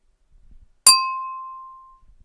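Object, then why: Glass drinking glass. A drinking glass is tapped once, giving a sharp bright clink that rings on at a clear tone near 1 kHz with higher overtones. The onset is instant and the ring fades slowly over about a second, with faint low handling noise before and after.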